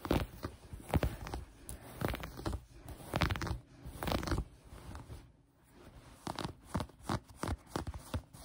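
Long brown-painted nails gather and scratch a piece of green knit fabric folded on a table. Soft, crunchy scratching bursts come in uneven waves, with a brief quiet stretch before a run of sharper, quicker scrapes.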